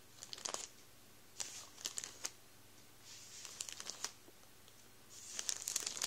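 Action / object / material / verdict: scrape / plastic bread roll bag / plastic / none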